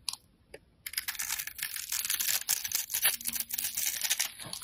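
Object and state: Bar soap being scraped.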